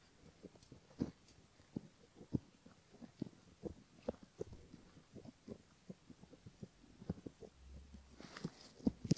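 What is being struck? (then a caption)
Silicone ear model scratched with a bamboo ear pick. A bamboo ear pick scratches along the back edge and rim of the outer ear on a silicone left ear model. The result is quiet, dry, soft scraping and tapping with short, sharp ticks, mostly low in pitch, and no ringing. A brief brighter rustle comes near the end.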